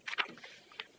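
Three sharp, bright stamping knocks sound as documents are stamped on a new table with a hollow bottom. Two come in quick succession and the third follows after a short pause. Each has a brief hollow echo because of the table's hollow bottom.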